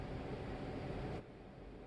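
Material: Nothing is struck.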